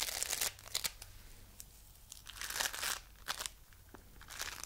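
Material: Foam beads.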